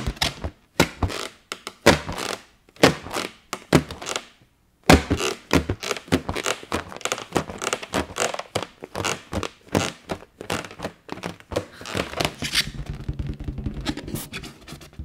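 An inflated yellow latex party balloon, about 9 inches, hollow and air-filled, is held up close to the microphone and tapped and scratched with long fingernails and fingertips. It gives a run of dull, hollow thunks and clicky taps with very short ring, some louder and some softer. Toward the end they turn into a faster, denser patter with a low, buzzy rubbing squeak underneath.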